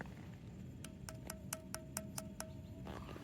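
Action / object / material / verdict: knock / carved andesite temple stone block / andesite stone / hollow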